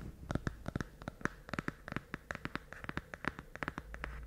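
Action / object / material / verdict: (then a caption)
tap / small cardboard box / cardboard / none. A small, hollow, rectangular pink cardboard box, held in both hands just above a fluffy microphone windscreen, is tapped and scratched with fingertips and nails. The result is a quiet, close run of dry, crisp clicks and taps with a faint papery scratch between them, each hit dying away almost instantly.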